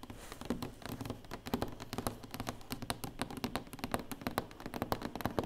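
Long nails and fingertips tap quickly on the lid of a large, closed black cardboard award box, which sounds hollow. The rapid, uneven taps give dry, short knocks with a soft low body and bright nail clicks, and each dies away almost at once.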